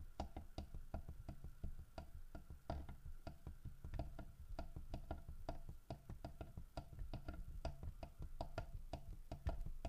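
Fingertips and nails tap on the body of a large, solid carved wooden bear statue holding a fish in its mouth. The result is a steady stream of quick, dry clicks and soft, low knocks that die away almost instantly.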